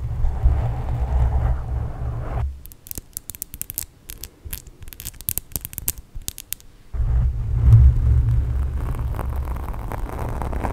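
Long nails on both hands scratch fast at a black foam windscreen on a microphone, making a dense, deep rumbling scrape with many rapid onsets. In the middle the rumble drops away, leaving quieter, bright crackling ticks and scratches before the heavy low scratching returns.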